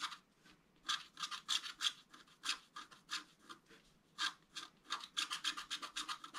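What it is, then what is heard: Scratch-art card being scratched. A wooden stylus scratches lines into a flat scratch-art card with a black coating over colored foil, lying on a table. Bursts of bright, dry scratching, mostly above 1 kHz, come in irregular strokes of varying length separated by short quiet gaps.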